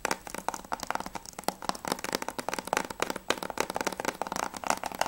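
Fingertips and nails tap fast on the front cover of a closed, hollow plastic PS3 game case for Spec Ops The Line, held upright. About 24 quick, dry, clicky taps with no ring, centered around 836 Hz with bright upper edges and almost no low end.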